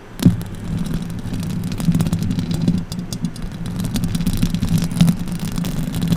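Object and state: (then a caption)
Metal microphone grille being scratched. Long orange acrylic nails scratch the hollow metal mesh grille of a silver condenser microphone with both hands. The result is a dense, continuous, low, rumbling scrape with a steady tone around 176 Hz, broken by quick crackling ticks and a sharp thump near the start.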